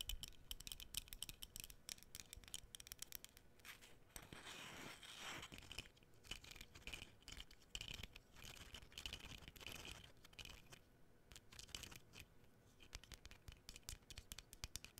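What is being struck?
Flat layered cardboard cutout.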